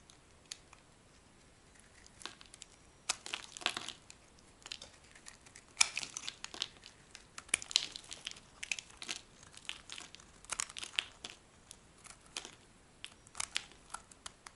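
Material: Soap.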